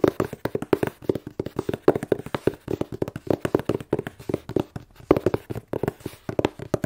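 A plain brown cardboard box, hollow and closed, is held upright and tapped with fingertips and long nails. The result is a rapid, steady series of short, dull, hollow taps, each dying away almost instantly. They centre low-mid around 380 Hz, with very little bright high end.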